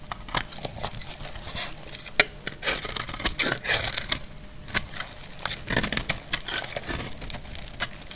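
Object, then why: Bar of glycerin soap. A solid, dry purple glycerin soap bar is held in the hand and shaved with a metal utility blade, leaving a pile of purple shavings below. The strokes make bright, dry, crackly scraping and crisp snapping sounds in quick irregular bursts, with little low end and almost no ring after each cut.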